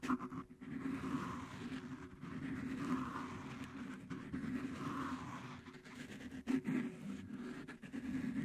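Fingertips and nails of both hands scratch and rub blue cohesive fabric flex grip tape wrapped over a metal microphone head. The result is a close, muffled, continuous scratching and rubbing texture centered in the low-mids, with soft surges and a few sharper bumps.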